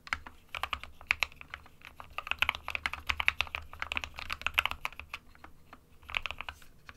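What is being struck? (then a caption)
Plastic-cased mechanical keyboard with plastic keycaps. Fingertips of both hands type continuously on a small 60% white plastic-cased Geek SK61 mechanical keyboard with plastic keycaps and RGB lighting, resting on a printed desk mat. Quick, bright clacks fire in uneven bursts with very short decay, over a faint low hum.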